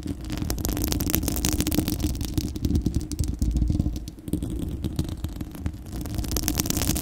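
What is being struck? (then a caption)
Steel wire-mesh microphone grille. Long acrylic nails of both hands scratch across the bare, hollow, fist-sized spherical steel wire-mesh grille of a microphone. A dense, continuous rumbling scratch sits heavy in the low end, with fast gritty strokes flickering up into bright highs and a brief dip in level partway through.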